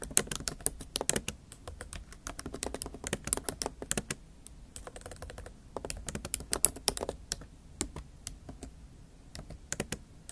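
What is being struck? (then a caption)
Plastic laptop keys in a metal body. Long acrylic nail tips type and tap on a MacBook Pro keyboard, black plastic keys set in a silver aluminum laptop body. Quick, bright clicks come in bursts with short pauses between them. Each click is crisp and dies away almost instantly over a faint low hum.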